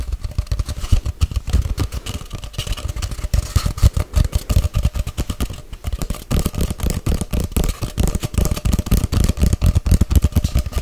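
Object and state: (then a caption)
Hollow empty cardboard tube. A hollow, empty white and grey cardboard tube about 40 cm long is held horizontally close to the mic and tapped fast with long white-painted nails. It gives a dense, rapid stream of short, deep, hollow thuds with almost no bright content. The taps come in quick bursts that swell and ease in loudness throughout.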